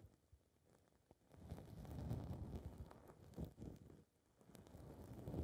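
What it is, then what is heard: Foam microphone windscreen being scratched. Long red nails scratch the surface of a small blue foam windscreen ball fitted over a recorder's mic capsule. The result is a muffled, low rumbling scrape that swells and fades in uneven rustling bursts, with almost nothing bright in it.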